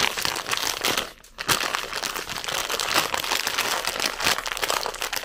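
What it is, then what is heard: Crinkled plastic snack bag. A full red plastic zefir bag is crinkled and scratched with long nails, giving dense, bright crackling and rustling with almost no low end. The sound drops to a brief near-silence just after one second, then continues steadily to the end.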